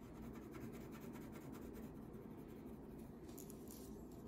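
A green wax crayon held by the fingertips rubs across a thin paper coloring page lying flat on a table, shading a mermaid tail. A quiet, steady, low scratchy rubbing runs throughout, with a few faint bright ticks near the end.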